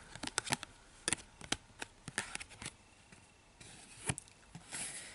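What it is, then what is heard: Cardboard box tapped and scratched with nails. Long painted nails tap and scratch the surface and edges of a small, flat printed cardboard box with Harry Potter Hogwarts Castle branding, held in both hands. Quick, bright, dry clicks and taps come in uneven bursts, with short papery scratching passages between them.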